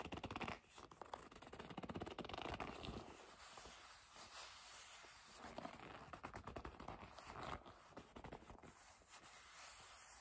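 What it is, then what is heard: Leather bag rubbed and gripped. Long nails and fingertips rub and grip the flat face of a hollow black leather bag. Dense scratchy rubbing and squeaky grips crackle across the whole clip, loudest at the start, with a steady bright hiss throughout.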